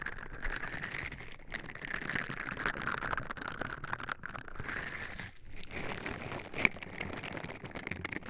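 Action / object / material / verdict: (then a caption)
scrape / silicone scrubber gloves on silicone ear pieces / silicone / none. Purple silicone-bristle scrubber gloves on both hands rub and scratch the silicone ear pieces on either side of a white binaural microphone box, which has an anime sticker on the front and a small vinyl figure on top. The result is a continuous, dense crinkling scratch with a bright band around 2 kHz, a few brief dips in the texture, and one sharp click just past the two-thirds mark.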